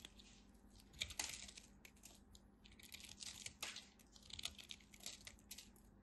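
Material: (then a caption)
Soap. A craft blade cuts and scrapes crunchy pieces off a thin remaining slab of dry purple bar soap held in the fingers. Dry, bright crackling and crunching bursts come in clusters, with a faint steady low hum underneath.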